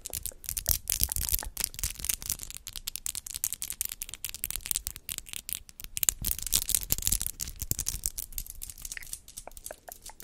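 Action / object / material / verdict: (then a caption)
tap / long acrylic fingernails with rhinestones / acrylic / none. Long square acrylic nails decorated with rhinestones and gems are tapped and clicked against each other, nail on nail, close to a microphone. The result is a dense, fast stream of sharp, bright clicks that come in bursts, with the strongest flurries near the start and around the middle. Each click is very short and crisp.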